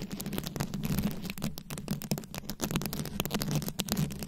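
Long nails scratch and tap across the rhinestone-studded head of a microphone, making a dense, crackly stream of rapid clicks and scrapes that reach up into bright highs. A steady low hum runs underneath the whole time.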